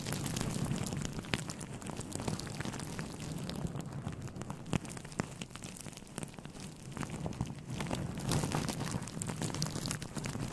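A grey, fluffy synthetic fur windscreen covering a microphone is scratched and rubbed with fingertips and short nails. This makes a dense, close rustling crackle with a heavy low rumble, dotted with sharp, dry clicks and pops. It swells louder near the start and again toward the end.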